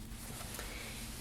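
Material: Nothing is struck.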